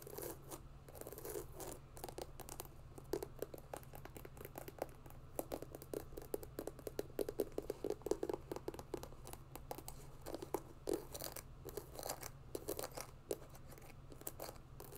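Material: Rubber.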